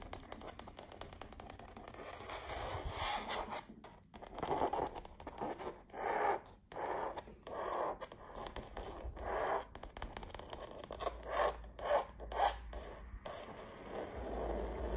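Long nails rub and scratch across the textured surface of a canvas wall art print showing an autumn tree and a fence. Dry scraping strokes come in uneven bursts, mostly mid-range around 500 Hz to 1 kHz with little low end, separated by brief quiet gaps.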